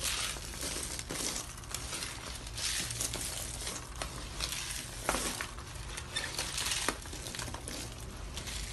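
Fingers crush and crumble white, hollow dry soap curls and shavings on a teal marbled tray. A steady, dense crunching and crackling fills the clip, bright and brittle, with a few sharper snaps standing out above the continuous crumbling.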